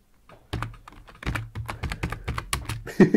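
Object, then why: Plastic computer keyboard. Fingertips of both hands type quick repeated taps on a full-size black plastic computer keyboard with a hollow body, resting on a wooden desk. About sixteen short, dry key strikes are heard, each a low thunk with a clicky top that dies away almost at once. The last strike lands loudest.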